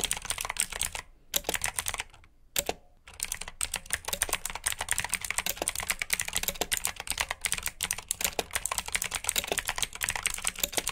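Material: Plastic.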